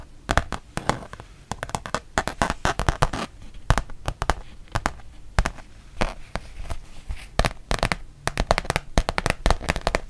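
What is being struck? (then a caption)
Rubber-backed fabric mouse pad. A thin, flexible, solid printed rubber-backed fabric mouse pad, held in both hands, is tapped and scratched on its front with long painted nails. Dozens of quick, dry, irregular taps come in bursts, each dying almost instantly, with a soft low thump under each tick and faint scratchy rustling between them.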